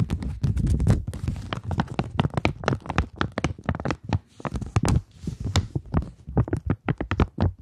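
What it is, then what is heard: Polymer banknote. A polymer £20 banknote is flexed and scratched with long manicured nails, producing a rapid, uneven run of dry crinkles, ticks and scraping taps. The sound is dull and close, weighted toward soft low thuds, with brief bright crackle on the sharper strokes. Each contact dies away almost instantly, with short quieter gaps between bursts.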